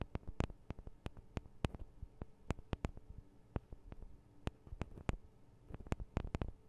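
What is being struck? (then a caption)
Small metal microphone capsules on a handheld recorder. Long acrylic nails on both hands tap the small hollow metal microphone capsules of a Tascam DR-40 recorder in a quick, irregular series of sharp, dry clicks. Each tap is a bright, short tick with almost no ring, over a quiet low hum.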